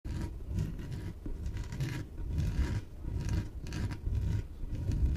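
Long painted nails scratch and tap the surface of a small, hollow, air-filled yellow inflated PVC exercise ball held on a table. The result is a steady stream of soft, dull, low thumps mixed with dry rubbing, punctuated by brief, bright scratchy bursts that repeat throughout.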